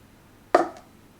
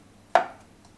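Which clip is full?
The second.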